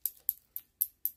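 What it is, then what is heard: Glass necklace. A glass necklace is tapped five times just for the pleasure of tapping. Each tap gives a bright, high glassy tick that dies away almost instantly. The taps are evenly spaced over a little more than a second.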